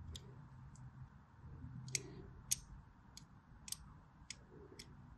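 A blade scores the edges of a solid white striped bar of soap as the bar is rotated in the hand. Short, sharp, bright scratching clicks come at an irregular pace over a quiet, low background hum.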